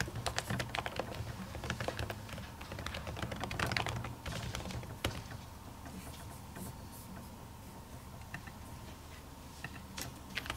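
A silver laptop keyboard with plastic keys under a white printed silicone cover is typed on with long natural fingernails and fingertips. The result is a run of soft, muffled clicks and taps, brisk and irregular for the first four seconds, then sparser over a steady low hum, with a few sharper ticks near the end.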